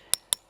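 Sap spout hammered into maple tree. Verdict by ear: Seated.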